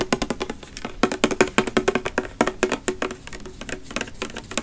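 Fingernails tap and scratch a pink plastic body mist bottle with a copper cap, filled with liquid, held close to the microphone. A quick, uneven run of sharp, dry clicks with a hollow knock around 371 Hz, each dying away almost at once, mixed with a faint bright scratching hiss between them.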